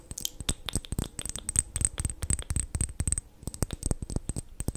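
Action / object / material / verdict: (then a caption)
tap / small glass cosmetic bottle with liquid / glass / none. A small, full liquid-foundation bottle with a black cap and beige contents, apparently glass, is held in both hands and tapped with long painted nails close to a microphone. A quick, irregular run of short, dry clicks and taps follows, with a thin, bright high ring over the top and dull low knocks underneath.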